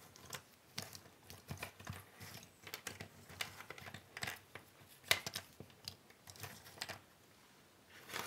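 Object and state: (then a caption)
Cardboard jigsaw puzzle pieces being shuffled. Hands rub, spread and sort a large pile of small, thin cardboard jigsaw puzzle pieces on a wooden table. Quiet, bright rustling and light clicking come in irregular bursts, with a sharper clack around the middle. The sound fades to near silence before a brief rustle at the end.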